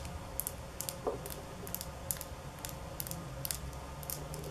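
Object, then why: Small glass nail polish bottle. Long polished nails tap a small glass nail polish bottle with a black cap, partly filled with blue-silver polish and held in the hands. Short, bright clicks come in irregular bursts, with one duller knock near the start, over a steady low background hum.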